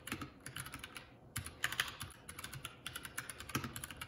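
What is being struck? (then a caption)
Mechanical keyboard with plastic keycaps. Both hands type continuously on a Keycool K84 75% mechanical keyboard with plastic keycaps. The result is a quick, steady stream of sharp, bright clacks over a soft low thud, with a brief lull about a second in before the typing picks back up.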